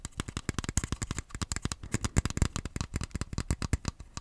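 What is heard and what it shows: Fingertips tap and scratch an empty, hand-sized, hollow black plastic Joy-Con grip in a quick, steady run of about thirty short, dry clicks and scrapes. Each hit lands with a low, hollow thump and a bright, crisp edge, then dies away almost instantly.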